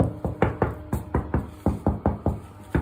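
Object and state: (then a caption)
Hollow-sounding floor tile. Eleven light taps on a ceramic bathroom floor tile laid on adhesive applied in dabs rather than spread evenly. Each tap gives a short, low, dull knock that fades quickly. The tile sounds hollow underneath, which is why the tiles wobble and the old grout was cracking.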